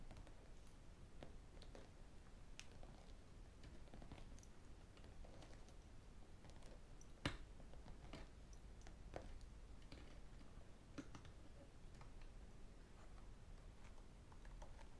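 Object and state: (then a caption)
Spiral notebook with plastic cover. Fingertips and metal rings tap the blue plastic cover of a large spiral notebook lying on a desk and run over its metal spiral binding. The result is a quiet, steady scatter of light, bright clicks and taps with short decays over a low, soft background rumble, with a few sharper taps standing out.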